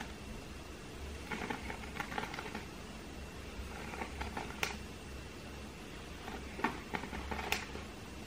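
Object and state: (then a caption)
Woven seagrass coaster. A round, flat, thin and solid woven seagrass or wicker coaster or trivet is held in both hands and scratched with fingernails. Soft, dry scratching and crackling comes in short irregular bursts, with a few sharper clicks standing out. A low hum and a faint steady tone run quietly underneath.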